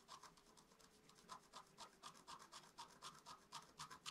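A wooden stylus scratches quick, small strokes into the coating of a flat black-coated scratch-art card lying on a table. Each stroke makes a soft, dry, bright rasp, repeating at a steady pace of about four per second. The strokes sit at a quiet level with almost no low end, and each scrape stops dead with no ring.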